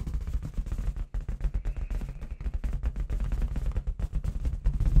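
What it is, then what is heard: Latex confetti balloon. Long red nails tap fast on a clear, hollow, inflated latex balloon with confetti inside, held in the other hand. The result is a rapid, dense run of short, deep, drum-like thumps with almost no ring, broken by a brief pause near the one-second mark.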